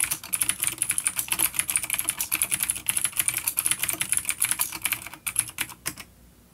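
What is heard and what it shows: Both hands' fingertips type rapidly on a full-size dark plastic vintage mechanical keyboard with clicky blue switches and grey keycaps, resting on a wooden desk. A steady run of sharp, bright clicks with very short decay fills the clip, with little low end. The typing thins out and stops just after six seconds, leaving near silence.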